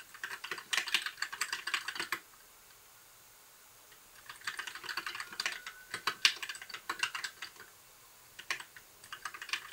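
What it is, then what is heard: Plastic mechanical keyboard. Fingertips type on a compact white backlit mechanical keyboard with plastic keycaps, producing bursts of bright, clicky keystrokes. The typing comes in three runs, separated by quiet pauses. There is no low end, and each click decays quickly.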